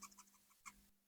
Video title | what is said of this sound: KIKIR TAPI BAGUS?! Review Blokees Champion Class Spider-Man Brand New Day | Ada bunyinya juga kayak krik krik krik krik gitu.